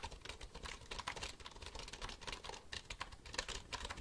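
A black plastic computer keyboard is held upright while fingertips type on its keys. The result is a quiet, steady stream of rapid, bright plastic clicks and taps, each dying away almost at once, with a soft low thump under some keystrokes.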